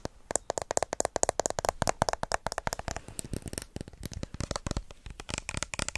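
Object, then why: Small plastic lotion bottle. Fingertips and short nails rapidly tap and scratch along the label of a small, hollow white plastic lotion bottle with an orange cap. The result is a fast run of dry, sharp clicks with a hollow tone around 670 Hz and bright, crackly scratching in between. Each hit stops almost instantly with no ring.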